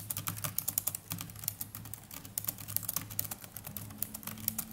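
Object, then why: Plastic laptop keyboard keys. Fingertips of both hands type continuously on the plastic chiclet keys of a small black netbook keyboard. A steady run of quick, bright clicks and taps rises over a soft low hum, each keystroke dying away almost instantly.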